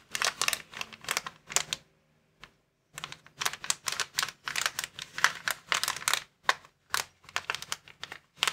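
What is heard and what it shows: Fingertips and nails scratch and tap a clear plastic inflatable air column cushion bag resting on a table. The result is quick clusters of dry, bright crinkling clicks with a short near-silent pause broken by a single soft tap, then the dense crinkling resumes until the end.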